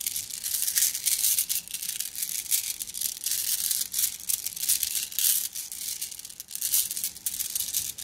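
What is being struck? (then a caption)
Flat glass gems in a plastic mesh bag. A plastic mesh bag of flat blue glass gems is squeezed by hand, making the gems clink together. The result is a dense, continuous stream of bright, high clinks and crinkly rattling that swells and fades over about eight seconds, with almost no low end.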